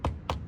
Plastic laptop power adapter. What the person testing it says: it's just super light and hollow